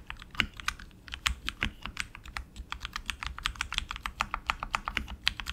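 Both hands type continuously with their fingertips on a tenkeyless RGB HyperX Alloy Origins Core mechanical keyboard, which has black plastic keycaps, lubed tactile switches, a metal top plate and an aluminum frame, resting on a desk mat. About 34 crisp, bright key clacks follow in quick irregular succession, each dying away instantly. A few land harder with a soft low thud.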